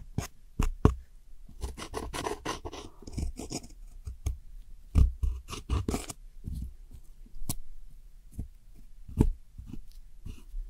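A metal hook tool scratches and crumbles a brown wedge of pressed powder eyeshadow in a round plastic palette holding wedge-shaped brown pans. Sharp, dry clicks and taps mix with short bursts of gritty scraping and crumbling, all muffled and low-heavy, with stretches of quieter rubbing between them.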